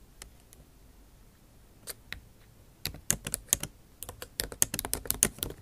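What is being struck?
Laptop keyboard, plastic keycaps in an aluminium body.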